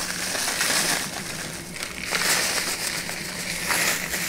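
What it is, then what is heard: Kraft paper bag. A flat brown kraft paper bag with a white label is held in one hand, waved and crinkled, the paper flexing under fingertip pressure. It gives a continuous bright, crackling rustle that eases briefly midway and then swells again, with a faint steady low hum underneath.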